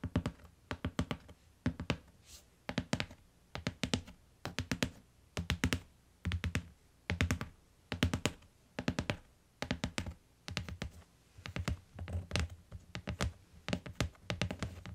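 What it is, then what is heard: Hardcover book tapped with fingernails. Long acrylic nails and fingertips tap rapidly on the plain tan cardboard cover of a closed, medium-sized hardcover book lying on a fur rug, then on its bottom edge. The taps come in quick, uneven bursts of dull, low thunks with sharp, bright clicks from the nails, each dying away almost instantly.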